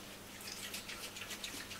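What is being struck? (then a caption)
Rubber bicycle tire containing liquid sealant. A mountain bike tire being converted to tubeless, with liquid sealant still inside, is shaken so the sealant swashes around both sides to seal leaks. Quiet, airy sloshing and faint dripping sounds rise and fall in the high frequencies, showing the sealant is still liquid inside the rubber tire.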